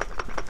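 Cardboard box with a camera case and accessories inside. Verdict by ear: Loose.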